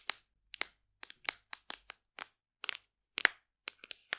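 A large, hollow black plastic supplement tub with a printed label is held in the hand and tapped and scratched with long nails. The result is a string of quiet, sharp, bright clicks and taps at an irregular pace, each dying away almost instantly with no low-end body.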